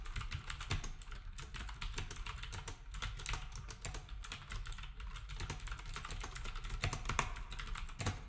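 Fingertips type steadily on a black compact plastic typewriter-style keyboard with round plastic keycaps for about eight seconds. The result is a dense, continuous run of quick, dry clicks and taps. Each one has a soft low thud and a bright clacking edge that dies away almost instantly.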